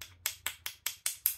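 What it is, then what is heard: Metal ferrule on a cane-style scabbard. The iron ferrule tip at the end of a wood-imitation, cane-style scabbard for a 400-year-old Japanese wakizashi, fitted to protect the wood when walking, is tapped six times at a steady pace. Each tap is a sharp, bright metallic click with very high content and almost no low end. Each one dies away quickly, ringing like metal.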